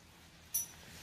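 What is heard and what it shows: A "big head" silver dollar coin, judged a fake made of silver-plated copper, is struck once to test its ring. It gives a single sharp, high-pitched metallic ping that fades within about a tenth of a second.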